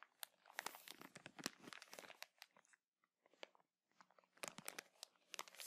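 A small clear plastic bag full of cotton buds is held in both hands and crinkled and scratched with fingertips and nails. It makes quiet, dense, bright crackling and rustling with sharp little snaps, falls almost silent for about a second midway, then starts crinkling again.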